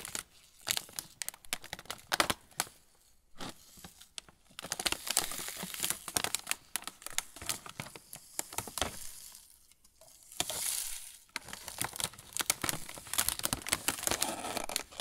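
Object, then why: Plastic film snack bag. A full plastic film pretzel bag is turned and squeezed in both hands while fingertips crinkle the film. Dense, bright crackling comes in bursts of sharp crinkles with brief quieter pauses between handlings.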